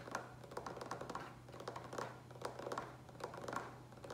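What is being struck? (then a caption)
Plastic water pitcher with water. Fingertips and nails tap quickly and unevenly on the sides of a large green plastic water pitcher with a lid, partly filled with water. Each light tap gives a short, hollow plastic knock with a faint ring near 1 kHz and brief bright clicks. A steady low hum stays underneath throughout.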